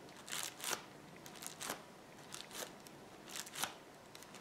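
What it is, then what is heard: Plastic bubble wrap. Fingertips press, tap and rub the bubbles of a rolled roll of clear plastic bubble wrap resting on a table. Soft, bright plastic crinkles and crackles come in irregular, quiet bursts about once a second, with faint rustling between them.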